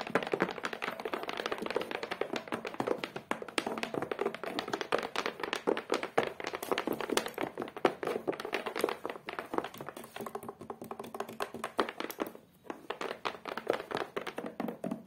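Long acrylic nails tap rapidly across the flat, solid cork-textured board on the back of a photo frame, beige with a black edge. Dense, dry, short taps cluster in the mid-range with little ring, briefly easing around twelve seconds before continuing.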